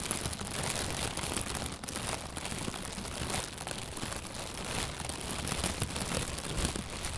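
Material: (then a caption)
Plastic. An inflated, hollow white plastic bag, held from below, is squeezed and rustled with the hands. The result is a steady, dense crinkling and crackling with bright, hissy highs over a soft low rumble.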